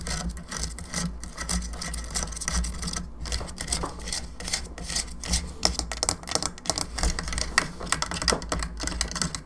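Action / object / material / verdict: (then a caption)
tap / hollow plastic skull lamp / plastic / none. Long nails tap and scratch around the jaw, cheeks and sides of a hollow plastic skull candelabra lamp. Quick, bright clicks ring only briefly, mixed with scratchy rubbing over a steady low hum.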